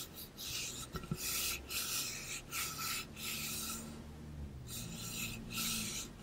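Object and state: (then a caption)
Painted metal water bottle, scratched. A hollow, pink-blue ombre insulated metal water bottle of about 0.5 L, with a metal base and cap, is held close and rubbed and scratched along its painted side with fingertips and nails. The result is repeated bursts of bright, raspy scratching separated by brief pauses, over a faint low hum.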